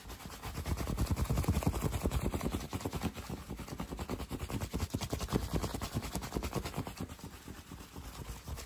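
A green fabric baseball cap, worn on the head and held close up, is scratched and tapped quickly with fingertips and short nails. The result is a fast, dense run of soft, muffled thumps and rough scratching with a heavy low-end rumble, rising in the first second and then pulsing unevenly throughout.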